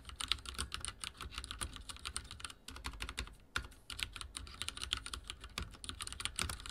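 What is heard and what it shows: Fingertips type rapidly on a backlit mechanical keyboard with dark plastic keycaps and a silver frame. Dense, bright, clicky keystrokes with a low thump under each press run steadily, with only a couple of brief pauses.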